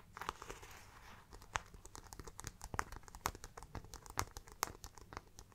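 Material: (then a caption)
Faux leather. Long black-painted nails tap and scratch the studded front panel of a small, round, brown faux leather crossbody bag with metal studs, hollow and soft-bodied, held close. A soft crinkly scratching runs throughout, broken by sharp, bright clicks as the nails strike the metal studs, all quiet and close-up.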